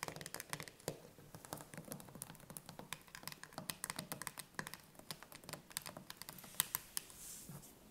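A full steel can of chickpeas has its metal lid and rim tapped quickly with long nails. The result is a steady flurry of short, bright clicks with a faint metallic tick and no ring. Near the end comes a soft, brief rustle.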